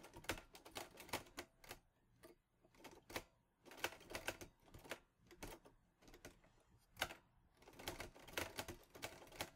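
Fingertips type on the keys of a mint-green Olivetti Lettera 22 portable typewriter with a metal body and paper loaded. It gives bursts of crisp, bright mechanical clacks that stop almost instantly, with short pauses between runs of keystrokes.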